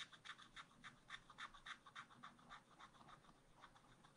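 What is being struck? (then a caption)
Scratch art card scraped with a wooden stylus. A wooden stylus scratches small hearts into the right edge of a black-coated scratch art card in a spiral pad. A quick, fairly even run of short, dry scraping strokes, bright and thin with little low end, repeats at about three or four per second.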